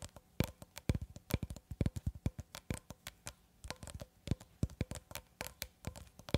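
Long red acrylic nails tap and scratch along a long cylindrical roll of clear plastic cling film, solid wound film held horizontally in both hands above the mic. A quick, irregular run of dozens of short, dull taps is heard, each with a crisp click on top and a low thump beneath. Every tap dies away almost at once, with faint scratching between them at a quiet level.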